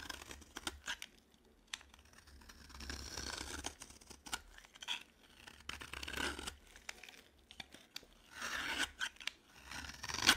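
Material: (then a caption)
Soap. A dry green solid bar of soap has its surface scraped with a metal utility knife blade. The result is a run of quiet, bright, crisp scraping and crunching strokes with brief sharp clicks, ending on a louder, harsher scrape.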